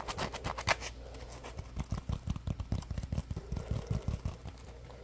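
Fingertips squeeze and scratch a palm-sized, solid yellow polymer foam Scrub Daddy sponge with a face cutout, held in both hands. The first second brings bright, raspy scratching bursts. Then comes a quick run of soft, muffled, low squeezing pats with little ring.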